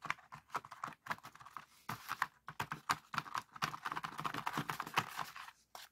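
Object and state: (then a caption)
Paper origami pop-it being popped. Fingertips of both hands press and pop the hollow folded paper cells of a hand-folded, palm-sized heart-shaped pop-it made of red, orange, yellow and green colored paper, lying on a wooden table. A rapid, uneven series of quiet, dry crinkling pops and clicks centers around 1 kHz, each dying away almost instantly, with a few brief pauses between bursts.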